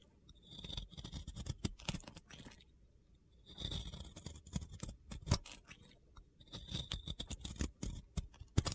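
A metal box cutter blade scrapes crumbly white chunks off a solid, round, pink-glitter-coated soap. The result is three bursts of gritty, crunchy scraping with sharp crackling clicks, separated by short quiet pauses.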